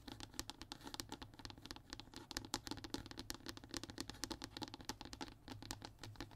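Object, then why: Thin hardboard fiberboard panel. Short nails and fingertips tap and scratch rapidly on a flat, thin brown hardboard (MDF) sheet resting on a table. Quick, dry clicks with bright, high edges and a hollow, woody knock around 290 Hz die away almost instantly, over a soft, steady scratching hiss.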